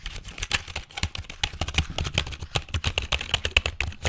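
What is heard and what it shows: Fingertips tap and type rapidly on the keys of a full-size, hollow black plastic computer keyboard held over and beside the microphone. A fast, uneven stream of short, bright plastic clicks with a low thump under each press, every click dying away almost at once.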